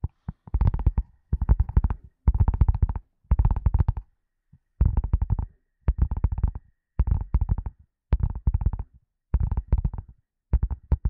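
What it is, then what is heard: Leather glasses case. A leather glasses case is tapped with quick fingertip-like patters in short bursts separated by brief pauses. Each tap is a soft, dull, low thump with almost no ring, giving a muffled, padded drumming.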